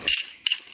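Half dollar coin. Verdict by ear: Hollow.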